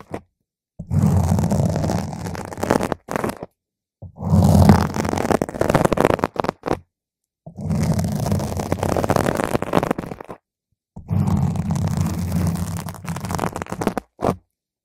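A single long nail scratches different spots on a round purple foam microphone cover, making a dense, rumbling, low scraping roar. The scratching comes in four long bursts separated by short silences, with faint bright hiss above the heavy low rumble.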